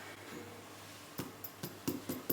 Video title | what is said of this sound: Low Carb Bread - only 4g per slice and absolutely delicious!! | give it a good tap it's sounding nice and hollow